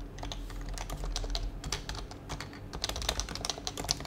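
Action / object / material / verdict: tap / plastic mechanical keyboard / plastic / none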